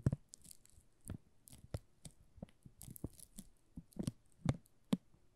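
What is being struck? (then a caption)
Soap bar in plastic film wrap. Thumbs and fingertips rub and crinkle the loose plastic film wrapped around a solid pink "Rose" soap bar. Quiet, slow crinkles and crackles come in short, separate bursts. Each burst has a soft low thump and a bright, papery rustle that dies away almost at once.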